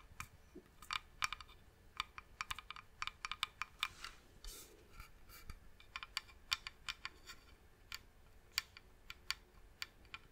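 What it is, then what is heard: Wooden box tapped with fingernails. Long nails tap on the top and edge of a medium, hollow, varnished wooden box sitting beside the mic. The taps come as quick, irregular, bright clicks with a slight hollow ring that dies away almost instantly. A few short brushing sounds are mixed in over a quiet background.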